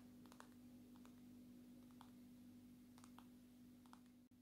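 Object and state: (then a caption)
Glass-backed smartphone. A long natural nail taps the side and back of a dark red and black glass-backed smartphone, held edge-on. Light, clicky taps come in small irregular clusters over a quiet, steady low hum, with a brief dropout near the end.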